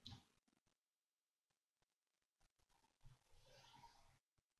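Fingertips with short nails tap and lightly scratch a stack of printed paper sheets in an open ring binder with colored tabs, lying flat on a dark desk. A bright, papery tap opens the clip, followed by scattered soft ticks and a longer, hissy scratching rustle across the page surface before it fades to quiet.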